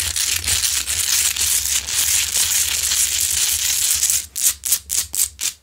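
Long nails scratch near the top of a large, solid, rough pink Himalayan salt crystal lamp that is lit. A dense, bright, gritty scraping runs continuously for about four seconds over a faint low hum. It then breaks into about five short, separate scratching strokes.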